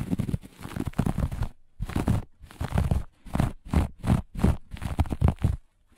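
Long fingernails on both hands scratch and claw at the pile of a flat, looped grey-beige carpet. The result is a series of rough, crunchy scraping bursts with short pauses between them, dominated by a dull, low rumble.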